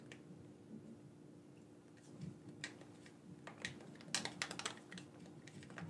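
Fingertips click the buttons of a black, wired, hand-sized hollow plastic gamepad held in both hands. Quiet, sharp, bright clicks come in an irregular patter over a faint steady low hum, growing denser and louder in a quick flurry near the end.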